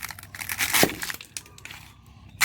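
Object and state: Crisp, dry roasted eggshells.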